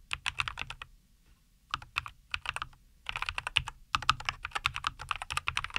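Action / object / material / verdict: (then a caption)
tap / mechanical keyboard with plastic keycaps / plastic / none. Both hands type continuously with their fingertips on a compact 75% NuPhy Air75 V2 mechanical keyboard, which has a white case, green and white plastic keycaps and Cowberry linear switches, resting on a wooden desk. Quick, bright plastic clacks come in bursts of rapid keystrokes, separated by short pauses near 1 second and 3 seconds. Each keystroke is short and crisp with almost no low rumble.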